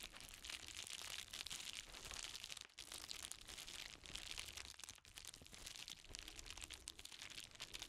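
An empty, medium-size yellow padded paper mailer envelope with Amazon print is held and crinkled by black-gloved hands. The result is a steady stream of dry, bright crinkling and crunching with little low end, with brief dips between bursts.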